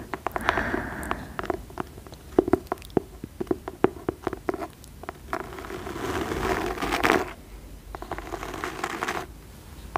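Long nails tap on the cover and spine of a cream fabric-covered hardcover book with a dark label, held close. Sharp, dry clicks come in quick irregular bursts, mixed with longer stretches of soft, raspy scratching across the cloth.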